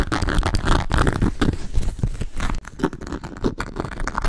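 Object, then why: Leather and calf-hair shoulder bag. A hollow grey embossed leather and leopard calf-hair shoulder bag is scratched and tapped with long nails. The result is a dense run of dry scraping and crinkly, crunchy scratches over soft, low, muffled thumps, with a brief drop in loudness about halfway through.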